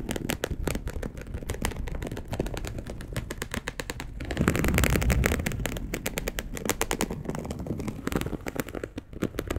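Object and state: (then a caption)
Polyester mesh fabric sheet. A dark brown perforated polyester mesh fabric sheet, laid flat, is scratched with long acrylic nails. A rapid, irregular stream of sharp scratchy clicks and crackles is heard, with low rumbling underneath. The sound swells louder and denser midway, then settles back to quicker, separate scratches.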